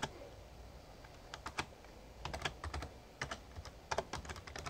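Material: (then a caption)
Plastic. Fingertips type on the keys of a Razer Ornata Chroma, a full-size backlit plastic mecha-membrane gaming keyboard. Short, soft clicks come in quick bursts, each with a crisp bright tick over a dull low thud that dies away almost at once. Brief pauses fall between runs of keystrokes against a quiet low background.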